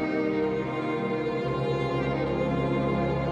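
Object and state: Nothing is struck.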